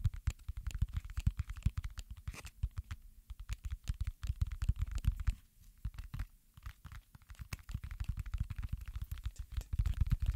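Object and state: Silicone pop-it fidget toy.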